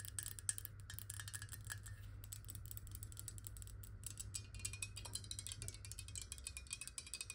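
Long nails rapidly tap and scratch a clear glass bottle with water inside, held sideways, working over both the glass and its base. The result is a dense stream of quick, bright clicks with short scratchy strokes and very little ring, over a steady low hum.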